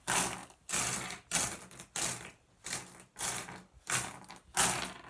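Fingertips rake and shuffle a pile of small, solid, blue iridescent flat glass gems on a wooden surface. Eight separate bursts of bright, dense clicking and rattling sound as the gems clatter and slide against each other, with brief quiet gaps between strokes.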